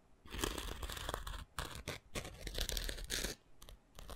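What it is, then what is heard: Foam sanding sponge scratched with a stick. A thin wooden stick scratches across the gritty abrasive surface of a rectangular foam sanding sponge held in one hand. The sound comes as rough, crackling bursts of bright, hissy scraping separated by brief pauses, with a dull low rumble underneath.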